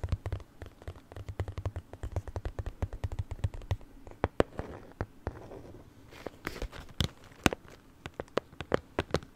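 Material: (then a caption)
Cardboard. A small, closed, hollow pink printed cardboard gift box is held in one hand and tapped with long nails. The result is a rapid run of sharp, dry clicks that die away almost instantly, each carrying a low, hollow body. Softer rustles fill the short gaps between bursts of taps.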